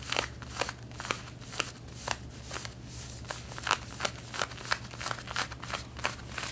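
Long red-painted nails scratch the back pocket and seam of light blue denim jeans being worn, making about twenty quick, bright, rasping strokes at an uneven pace. Each scrape is short and dry, with a faint steady low hum underneath.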